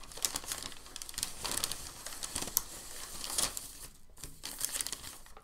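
A large, thin, crinkled sheet of white packing paper lies flat on a dark table while a flat hand presses it down, then lifts and folds it over. Dense, bright crinkling and crackling runs throughout, with sharper rustling bursts and a brief lull near the four-second mark.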